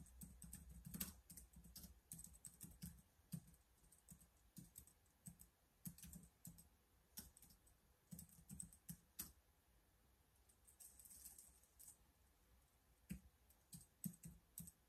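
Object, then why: Plastic laptop keyboard. Both hands type with their fingertips on the keys of a black plastic laptop keyboard. Quiet, irregular clicking taps mix bright, sharp key clicks with soft low thumps. There is a brief lull near the middle before the typing picks up again.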